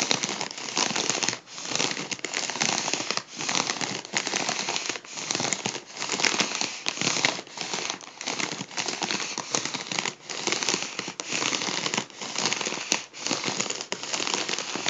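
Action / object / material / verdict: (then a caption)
scrape / mylar foil balloon / mylar foil / none. Fingertips pinch and crinkle the folds of a hollow gold mylar foil balloon. The result is a dense, continuous, bright crinkling and crackling with almost no low end, swelling and dipping in short bursts about once a second.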